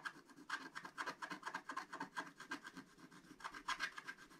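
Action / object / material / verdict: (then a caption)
scrape / black-coated scratch-art paper scratched with a wooden stylus / coated paper / none. A wooden stylus scratches the black coating off a flat scratch-art paper page in a rapid series of repeated strokes. Each stroke gives a short, dry, raspy scrape centered in the upper mids around 1.6 kHz with a faint bright hiss above. The scratching is quiet and steady, with no ringing between strokes.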